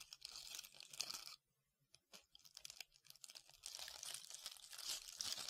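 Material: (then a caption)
Foam, glitter. Long red-painted nails scratch and rub a hand-sized, solid white foam ball covered in glitter or beads, cupped in both hands. The result is a dense, bright, crackly scratching that stops for a brief silence and then returns as scattered ticks. It builds back into a steady, sizzling rasp.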